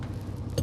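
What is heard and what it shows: A rubber cargo-truck tire is tapped during a morning check for flats, and it answers with a firm, low "tong" that rings briefly over a steady low rumble. This is a properly inflated tire, unlike another that sounds dull.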